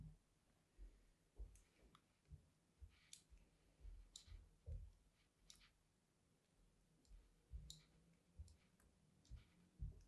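A fine metal blade tip scratches diagonal grooves across the face of a solid, embossed cream bar of soap held in the hand. About ten quiet, separate strokes are heard, each a soft low thud with a short, bright, crisp scraping click that dies away almost at once between faint pauses.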